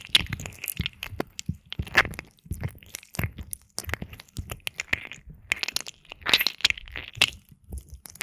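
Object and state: Silicone ear microphone being rubbed.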